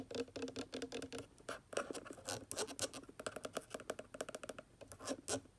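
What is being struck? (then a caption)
Plastic bottle cap. A white plastic cap on a water conditioner bottle is scratched and tapped rapidly with long dark nails and fingertips. Quick dry clicks and scratchy rasps come in dense uneven bursts, with a light hollow plastic tone and no ring after each touch.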